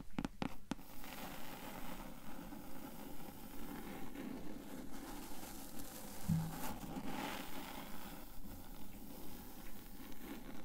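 Long acrylic nails tap and scratch the blue cloth cover of a closed hardcover book lying flat. Four quick, sharp taps open the clip, followed by a steady, soft, low scratching that rises and falls in a loose rhythm.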